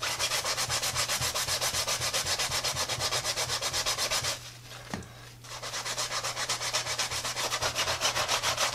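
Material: Rubber, textile.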